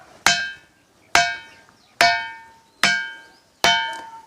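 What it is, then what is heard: Ringing rock (stone with a metallic ring). A ringing stone boulder at an ancient temple is struck five times in different places, and each hit gives a sharp metallic, bell-like clang with a clear tone around 1.6 kHz that rings and fades over about half a second. Unlike the ordinary stone beside it, this rock sounds like metal wherever it is hit.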